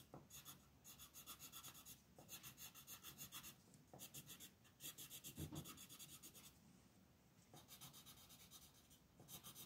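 A green wooden colored pencil rubs in quick short strokes across a flat printed paper coloring sheet lying on a desk, while the other hand holds the sheet. The strokes make a bright, dry scratching rasp in rapid rhythmic bursts, separated by brief quieter pauses.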